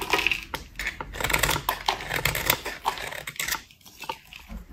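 A solid pale pink rectangular bar of dry soap embossed "PURE" is held in one hand and shaved with a metal utility-knife blade by a finger-guarded hand, with white powdery shavings falling away. The repeated scrape-and-cut strokes make dense, crisp, bright crunching and scratching with sharp short clicks. The strokes grow softer and sparser toward the end.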